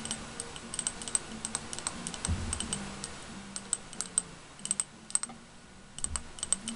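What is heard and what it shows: A small round glass candle jar, painted blue with a daisy design and filled with wax, is held in both hands and tapped with fingernails and fingertips on the glass. The result is a steady run of quick, dry, bright clicks and ticks, each dying away almost instantly, over a faint low background murmur.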